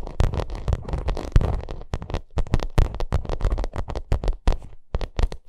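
Long nails scratch and tap the bumpy pyramid-textured surface of a padded, hollow white vinyl makeup bag. A dense, crackly scratching gives way to a quick run of sharp, dull taps with a deep, hollow thump underneath, each tap dying out almost at once.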